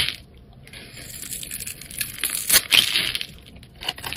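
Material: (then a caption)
Soap. A utility knife blade shaves and scrapes a solid, hand-sized yellow bar of soap with a thin bronze outer coating, held in the hand, so chips fly off. The sound is bright, crisp, crackly scraping with almost no low end, rising to its loudest, sharpest cuts near the middle of the clip before easing off and flaring briefly again at the end.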